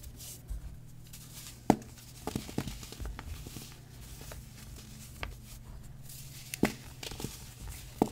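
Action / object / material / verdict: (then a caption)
scrape / compressed baking soda puck / baking soda / none. A small, solid, yellow-dyed compressed baking soda puck is held in both hands over a tray of loose powder and other pucks while fingertips and short nails squeeze it, break it in half, then crush and rub it into crumbly chunks. Quiet, gritty crumbling and soft rubbing run throughout, broken by several sharp, brief crunches and snaps as pieces give way. A faint steady low hum sits underneath.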